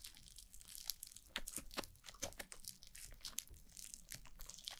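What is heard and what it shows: White foam-bead slime (floam), a soft bead-filled mass, is pressed and kneaded by fingertips with long blue nails against a black glossy mannequin-head microphone. The result is quiet, continuous squishing laced with dense, bright crackling and crunchy pops as the beads shift and burst, with a faint low rumble underneath.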